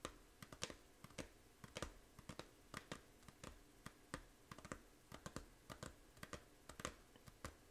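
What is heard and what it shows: Long painted nails tap the front cover of a small, hollow plastic Nintendo 3DS game case for Fantasy Life, held up, with a printed paper insert. About thirty quick, dry clicks land in an uneven, typing-like rhythm. Each is bright and brief and dies away almost at once over a quiet background.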